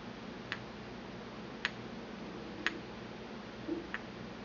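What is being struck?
Porcelain mortar and pestle.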